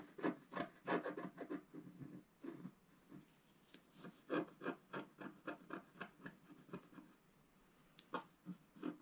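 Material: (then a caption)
Coated paper. A wooden stylus scratches across a flat black-coated scratch-art card in quick, uneven strokes. It makes soft, dry rasping scrapes, with brief pauses between the runs of strokes.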